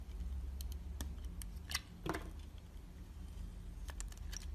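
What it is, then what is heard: Glycerin soap bar being shaved. A utility knife blade shaves thin slices off a solid, red, translucent glycerin soap bar embossed with "Dalan," held between the fingertips, revealing its paler interior. Short, crisp, bright scraping clicks and cuts come in an irregular run over a steady low hum.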